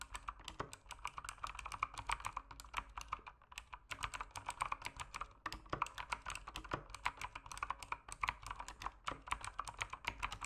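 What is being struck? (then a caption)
Plastic mechanical keyboard. Fingertips type steadily on an RGB-backlit mechanical keyboard with plastic keycaps, tapping the keyswitches. The result is a fast, continuous stream of short, crisp plastic clacks centered around 1 kHz with bright edges, each dying away almost instantly, over a faint low background hum.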